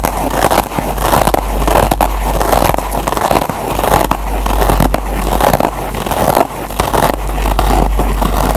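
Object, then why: Foam kitchen sponge with nylon scour pad. Short nails scratch and dig into the green nylon scour pad of a single kitchen sponge backed with yellow foam. The result is a dense, continuous scratchy crackle centered in the midrange, with a steady low hum beneath it.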